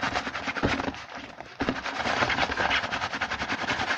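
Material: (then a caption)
Cardboard. Fingertips of both hands rapidly tap and scratch the front of a small printed cardboard Hanuta snack box, which lies mostly flat on a table and is then held. Dense, dry papery taps and crackly scratching run continuously, with a brief quieter dip around 1.5 seconds before the fast tapping resumes.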